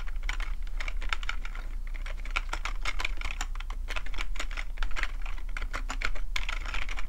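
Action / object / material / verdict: tap / plastic computer keyboard / plastic / none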